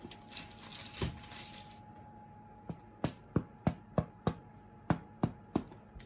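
Homemade bread loaves are tapped after baking, giving about ten short, dull, low knocks with a quick decay and a hollow sound that shows the bread is baked through. Before the taps there is a stretch of bright rustling and crinkling, and a faint steady tone hums underneath throughout.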